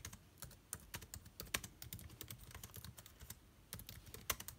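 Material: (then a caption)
Plastic. Fingertips type on the plastic keycaps of an aluminium-bodied laptop keyboard, producing a steady run of quick, dry clicks. Each tap is short and bright with almost no ring, and a few keystrokes land noticeably harder than the rest.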